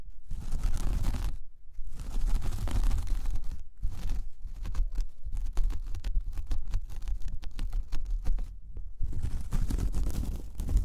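Long painted nails of one hand scratch a large, flat, solid round coaster of braided jute/straw. The result is dense, crackly scratching with a heavy low rumble, broken into bursts by brief pauses.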